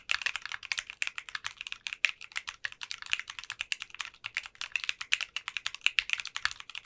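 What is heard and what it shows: Both hands type continuously with the fingertips on a 60% custom mechanical keyboard fitted with translucent pink polycarbonate keycaps. The result is a rapid, steady stream of crisp, bright clacks centered around 2.5 kHz, with almost no low end and each keystroke cutting off instantly.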